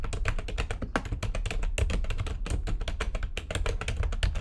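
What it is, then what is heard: Plastic computer keyboard being typed on. Fast typing with long nails and fingertips on a full-size plastic computer keyboard with white backlighting and a hollow housing. A dense, steady stream of quick, clacky key taps, each with a short hollow thump and brief ring.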